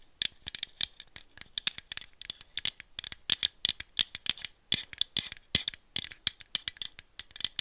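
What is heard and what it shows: Long nails tap and scratch rapidly along the body of a hollow aluminum screw-cap coffee drink bottle. The result is dozens of crisp, bright metallic clicks and ticks with almost no ring and almost no low end.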